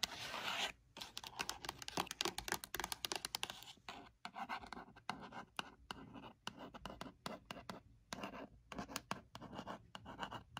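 Long pointed red nails scratch and tap the textured faux-leather lid of a hollow, dark navy Ralph Lauren rigid gift box made of leatherette-covered cardboard. A bright, dry scratching rasp opens the clip, then gives way to fast, crisp taps and short scrapes in uneven bursts with brief silent gaps. Each tap is dry and dies away almost at once.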